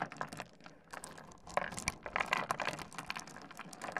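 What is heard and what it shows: Fingertips dig into, rub and shuffle a heap of small solid stone pebbles on a wooden desk, clicking the stones together. The result is a dense, irregular stream of quick, bright clicks and gritty rustling. Each click is short and dry, with little low end.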